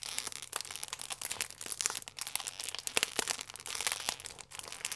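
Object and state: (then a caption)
Plastic film croissant wrapper. A full plastic-film croissant pack is squeezed, crinkled and pressed with fingertips. The result is a dense, continuous stream of bright, crisp crackles and rustles with almost no low end, each snap dying away almost instantly.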